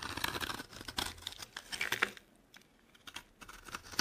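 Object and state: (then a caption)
Dry bar soap being carved. A metal blade carves and scrapes flakes off a solid, palm-sized, yellow-orange dry bar of soap held in the hand. Dense, crisp, bright scraping and crackling fill the first two seconds. After a brief near-silent pause, sparser, sharp scrapes resume toward the end.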